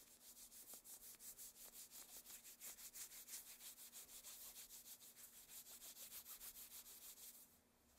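Long, thin black satin gloves are worn on both hands as the fingers interlace and the palms rub together. The result is a steady, fast series of bright, hissy swishes, about three per second, that trail off quietly at the end.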